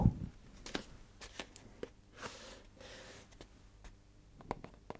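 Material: Cardboard.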